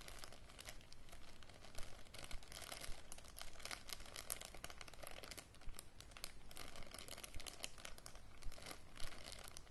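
Fingers and nails crinkle and work a small clear plastic zip-lock bag near its red seal strip. A steady, irregular stream of soft crinkling and crackling is heard, with occasional sharper snaps standing out.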